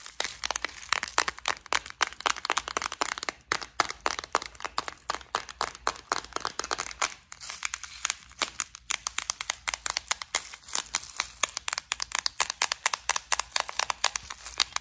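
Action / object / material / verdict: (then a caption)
tap / clear plastic compartment case with beads / plastic / none. Long acrylic nails tap and scratch a small, clear plastic flower-shaped bead organizer full of gold beads, held up and shaken now and then. Rapid, dry, bright clicks and crinkly scratches run almost continuously, with no low rumble and a brief thinning of the taps around the middle.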